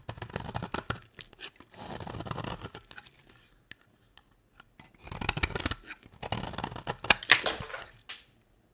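A square, solid beige bar of dry soap is held in the hand and shaved into curls with a box-cutter blade, making dry, crisp scraping and crunching strokes with a bright, papery texture. Two long runs of cutting are separated by a quiet pause with only a few faint ticks, and the clip ends with a last sharp scrape that fades into silence.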